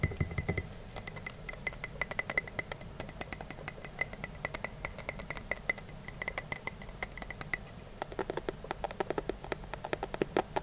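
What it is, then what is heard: Glass clamp-lid jar. Fingertips and short nails tap and clink on a small, clear glass storage jar with a glass lid and a metal wire clamp, held in both hands; the hollow jar looks empty. A steady run of quick, sharp glassy clinks follows, each dying away almost instantly, with a faint bright ring over a soft low background hum.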